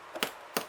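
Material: Bread.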